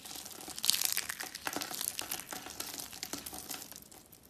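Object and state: Dry soap shavings crushed.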